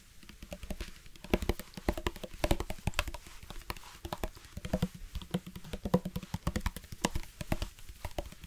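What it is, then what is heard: Plastic water bottle, partly filled. A black hard-plastic sports water bottle with a flip-top cap, hollow and partly filled with water, is tapped with fingertips and nails near the top and side. The result is a rapid, irregular patter of short, dry taps, each with a low, hollow thud and a bright clicky tick that dies away almost instantly.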